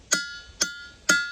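A boulder at Ringing Rocks Park in Pottsgrove, Pennsylvania, the best-sounding rock found in the park, is struck with a hammer three times. Each strike rings like a bell with a clear, high metallic tone around 1.4 kHz and bright overtones that decay quickly.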